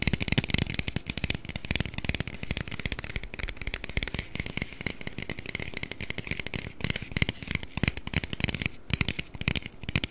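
An aluminium Red Bull can, held behind the microphone and partly hidden, is tapped and scratched with the fingers. The result is a dense, steady run of quick, dry clicks and scratchy crackles with soft low thumps underneath, a bright metallic edge, and almost no ring after each touch.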